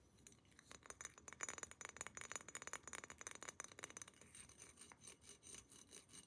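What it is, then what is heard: Glass water pipe tapped with nails. Long nails tap rapidly on a hollow, empty glass water pipe, first along the tube and then on its thick green glass base, making about 28 quick, bright clinks with almost no ring. The taps on the tube are louder and sharper, while those on the base are softer and duller.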